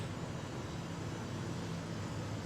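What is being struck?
Nothing is struck.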